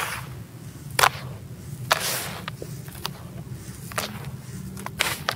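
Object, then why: Sand-cement mix in a plastic tub. Both hands drop into a teal plastic tub of dry, grey, granular sand-cement crumble and rake through it, crushing and sifting the loose mix. Sharp, bright gritty crunches stand out over a steady soft sifting hiss and a low background rumble.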